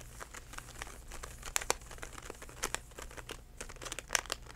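A DenTek plastic floss pick pouch is held in both hands and squeezed and crinkled with the fingertips. The result is a steady, bright, crackly crinkling with many short sharp pops rising above a low hum.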